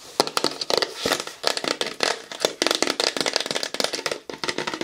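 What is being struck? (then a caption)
Plastic bottle. A large, hollow, light-blue plastic bottle is held upright and then sideways while fingernails tap it rapidly. The result is a fast, uneven stream of sharp, bright clicks with a light hollow tone, each dying away almost instantly.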